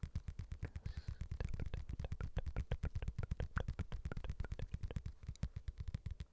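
A padded boxing glove is tapped in a fast, steady rhythm. Each tap is a soft, muffled, low thud that dies away almost instantly, with only faint brighter clicks on top.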